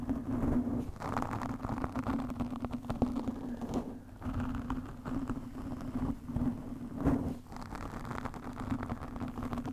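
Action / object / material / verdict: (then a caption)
scrape / foam microphone windscreen / foam / none. Long nails on both hands scratch a black foam windscreen on a studio microphone, making a continuous, dense, muffled rustling with a steady low tone underneath. The scratching is mostly low and mid, with brief lulls around 4 and 7.5 seconds before it picks up again.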